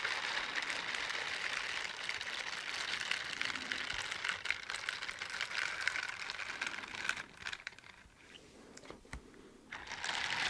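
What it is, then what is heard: Silicone dishwashing gloves being rubbed. Teal silicone bristle dishwashing gloves are pressed palm to palm and rubbed together to the side of the microphone. The result is a dense, bright, crackly, crinkling rub with fast scratchy ticks. It fades quieter near the end, then swells back up.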